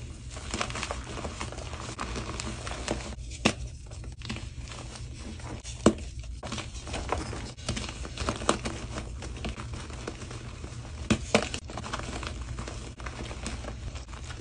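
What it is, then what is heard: Gym chalk block being crushed. Both hands crush and crumble soft pieces of white solid gym chalk block (magnesium carbonate) and chalk powder between the fingers. A steady, dry crumbling and crinkling texture runs throughout over a low rumble, broken by a few sharper, brighter snaps as pieces break apart.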